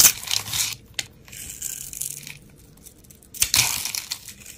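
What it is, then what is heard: Bar of soap being cut. A solid, hand-sized brown rectangular bar of soap is held in the hand while a steel utility blade scrapes and slices scored layers and cubes off it. Bright, crisp crunching and crumbling bursts come in a few separate passes, with quiet gaps between them.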